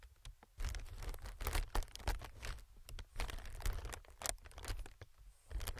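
Fingertips tap and scratch an inflated clear plastic-film air cushion, an air pillow. Soft crinkling, scratchy rustles and quick dry taps come in uneven bursts over a low, muffled thumping body. Each sound stops almost at once, with no ring.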